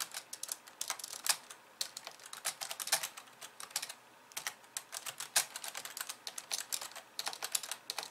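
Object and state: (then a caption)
Plastic computer keyboard. Long polished nails type with both hands on the plastic keys of a compact pink and white plastic computer keyboard. The quick, bright clicks are sharp and dry with almost no low end, and they come in uneven bursts with a brief lull near the middle.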